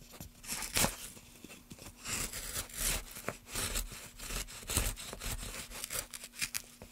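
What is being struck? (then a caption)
Pine wood block. A metal gouge carves a solid pine wood block held in a gloved hand, then a gloved finger rubs over the carved surface. Bright, dry scraping and tearing strokes come in short bursts over a faint steady low hum.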